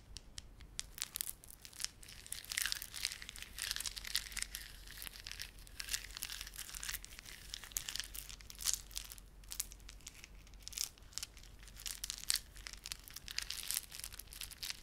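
Fingertips rub and squeeze a small clump of plastic garland held in both palms, made of glossy dark blue and silver solid plastic beads with a red spiky plastic fringe. The result is a quiet, steady stream of dense, bright clicking and crinkling, with almost no low end and no ring after each tiny snap.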